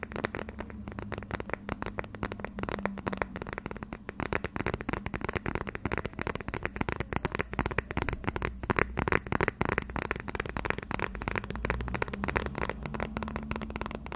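A transparent, thin, hollow plastic phone case is held edge-on in both hands and tapped with fingertips and short red nails. The result is a continuous stream of rapid, crisp, clicky taps with a hollow plastic tone, over a steady low hum.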